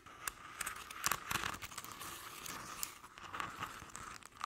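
Long acrylic nails scratch the ribbed surface of a medium-sized decorative jack-o'-lantern pumpkin, likely hollow, covered in crinkled orange crepe paper with a black felt face. The result is a soft, steady, papery crinkling and scratching, with bright crackles that rise above a faint hiss and centre around 1.1 kHz.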